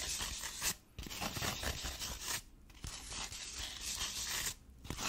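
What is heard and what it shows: Long painted nails scratch and rub across a grey foam insert sheet lying flat in an open case. The result is a dense, bright, crunchy rasping broken by a few brief quiet gaps.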